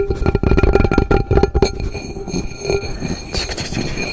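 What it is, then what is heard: Aluminum cooking pot. A worn aluminum cooking pot sits upside down while fingertips and nails tap and scratch its hollow base and sides. A quick run of dull, bassy taps comes first, followed by softer scraping and rubbing, with faint steady metallic ringing tones underneath throughout.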